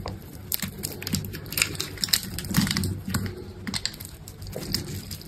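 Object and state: Bar of soap being cut.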